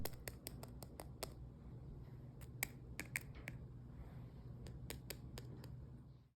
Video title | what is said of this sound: Caramel Apple Pastries from thelittleblogofvegan.com | listen to how crispy these are